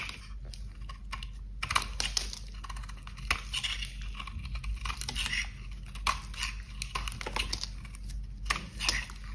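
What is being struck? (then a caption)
Bar of soap being carved with a blade. A box cutter blade scrapes and carves flakes off a solid, dry, cream-coloured bar of soap held in gloved hands. The result is a steady run of crunchy, crackling scrapes with sharp, bright peaks, set over a low, constant background hum.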